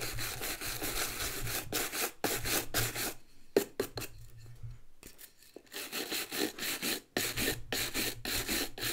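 A hollow, empty brown leather ankle boot held in one hand has its rubber lug sole scrubbed with a wooden-backed bristle brush. Bursts of dry, bright scratchy bristle strokes repeat in a loose rhythm, with a quieter stretch of lighter, sparser scrubbing in the middle before the full strokes resume.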